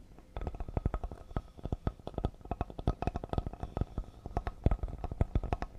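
Both hands tap fast on a solid cedar serving board with fingertips and nails. The result is a rapid, irregular patter of dull, low wooden thuds mixed with short, crisp clicks. Each tap dies away almost instantly.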